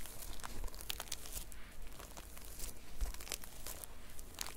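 Long nails scratch across a red and silver sequin-covered notebook cover, flipping the plastic sequins back and forth. The sound is a steady run of crinkly, crackling scrapes with bright ticking bursts over a faint low rumble.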